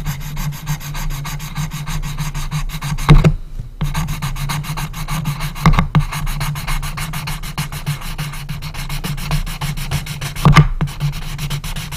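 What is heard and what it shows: An orange colored pencil rubs and scratches along a strip of the closed lid of a small, hollow, unfinished light wood coffin-shaped box while coloring. It makes a steady, rapid, dry scraping with a low hollow resonance from the box. A few louder scrapes stand out near 3, 6 and 10.5 seconds, and there is a brief pause just after the first.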